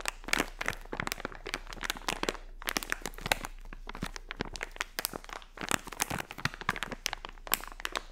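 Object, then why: Plastic foil pouch. Long nails scratch and fingers crinkle a filled, hand-sized blue unicorn plastic foil toy pouch. A dense, continuous stream of bright crinkling and sharp crackles, with short dry snaps that die away instantly, rises in busier bursts near the start, middle and end.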